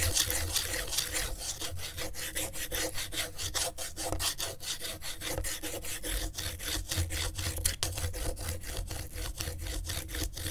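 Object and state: Corrugated cardboard sheet being scratched.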